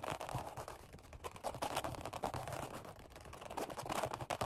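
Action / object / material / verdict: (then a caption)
tap / vinyl-covered foam bench pad / vinyl / none. Fingertips tap rapidly with crossed hands on a black padded workout bench seat upholstered in vinyl over foam. The result is a dense, continuous patter of soft, muffled thuds centered in the low-mid range, with quick scratchy accents that stop dead without any ring.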